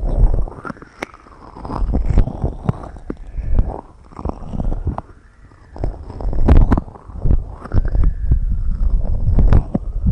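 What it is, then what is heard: Silicone microphone ear covers being tapped and scratched. Long red acrylic nails continuously tap and scratch both large white silicone rubber ear-shaped covers of a binaural microphone. The result is a dense stream of deep, muffled thumps and soft rubbing scrapes, swelling and fading in uneven waves with almost no bright content.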